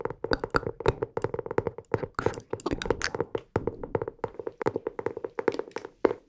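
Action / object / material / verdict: tap / hardcover notebook cover / cardboard / none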